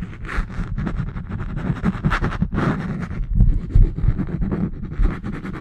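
A small spiral notebook with a green cover is scratched with fingernails along its page edges and cover. The result is a fast, continuous series of dry, rustling scratches with a deep low thump underneath and short bright bursts, rising and falling in loudness.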